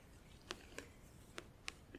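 Long nails tap on the lower edge and lid of a closed, hollow, clear plastic compartment organizer filled with press-on nails. Five short, bright, dry clicks sound at irregular intervals over a faint background hiss.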